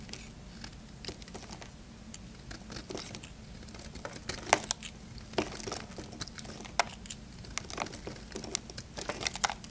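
A small knife blade scrapes and carves dry flakes off a solid, hand-sized, cream-white Camay bar soap held in one hand. Crisp, crinkly scraping and crunching cuts come in quick bright bursts over a faint steady low hum. Each cut snaps off dry with almost no ring.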